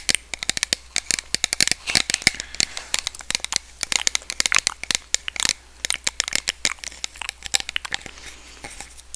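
Long red nails tap rapidly along a small, hollow, partly filled clear plastic spray bottle with a white pump nozzle. The result is dozens of quick, bright, dry clicks and crackly taps with almost no low end, each dying away instantly, some in dense bursts and others more spread out.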